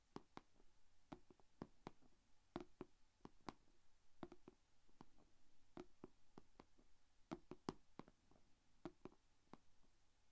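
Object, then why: Clear plastic food container with lid. Long painted fingernails tap and scratch the closed lid of a small, shallow, rectangular clear plastic food container holding glitter slime. The result is a quiet run of many sharp, dry clicks that die away almost instantly, with soft scratching between them over a low background hum.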